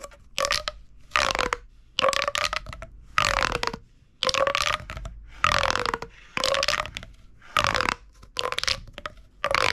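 A hollow purple corrugated plastic pop tube is gripped in the fist and compressed, so its ridges crunch together under the fingertips. This produces repeated short bursts of bright, crackly crunching, each with a faint whistling tone near 600 Hz and 1.2 kHz that slides slightly downward. Brief silences separate the bursts.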